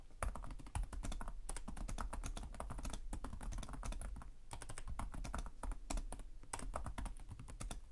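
Fingertips with short nails type continuously on the plastic chiclet keyboard of a black laptop resting on a desk. The result is a dense stream of rapid, short key taps with crisp clicks over a steady low hum.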